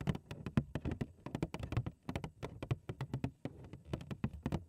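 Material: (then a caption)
Cardboard. Long acrylic nails tap and scratch the front face of a large, hollow, printed cardboard cereal box held in both hands. A quick, uneven run of short, dry taps lands with a hollow, low-weighted knock, and faint scratchy rustling fills the gaps between them.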